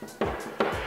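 Two firm knocks on a solid core interior wooden door in a media room, a door type that helps with sound dampening. Each knock gives a dull, woody thud with a mid-range tone around 400 Hz and a short decay, over faint background music.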